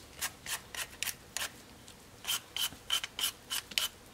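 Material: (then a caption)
Potato. A vegetable peeler scrapes one solid raw potato held by a hand with long nails, in thirteen short, separate peeling strokes. Each stroke is a bright, dry, rasping scrape with almost no low end, and the later strokes carry a faint whistling edge around 3 kHz. The strokes come at an uneven rhythm, with a short pause midway.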